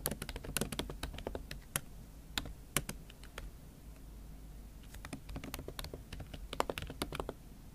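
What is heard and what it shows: Fingertips and long acrylic nails type on a MacBook Pro keyboard covered with a thin pink silicone/plastic skin, making quick, dry clicking taps that come in uneven bursts. Each tap is short with a bright tick over a soft, muffled low thud. The typing thins out briefly in the middle before picking up again in dense flurries.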